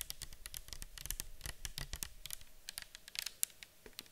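Long acrylic nails tap and scratch a round, clear bottle with a white cap, likely plastic and partly filled with orange liquid, as it is held and tilted. The result is a quick, uneven patter of bright, dry clicks and scratchy strokes that stop instantly with no ring, each carrying a faint low thud.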